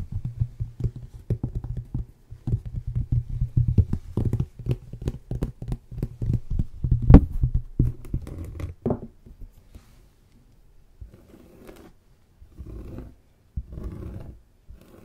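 Fingertips and short nails scratch and tap across the rough, granular surface of a thin, flat, rectangular cork placemat made from a solid sheet. Dense, dull, low thuds and soft scratching patter run for about ten seconds. The sound then thins to a few quieter, short bursts of scratching.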